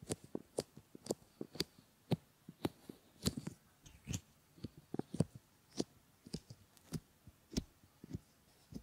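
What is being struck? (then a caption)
Silicone ear models. Fingertips rub and fold the rims of a pair of solid silicone ear models, producing soft, close, muffled thumps and crackly rubbing with occasional bright brushing. About seventeen short, dull bursts come at an irregular pace, each dying away almost instantly over a quiet background.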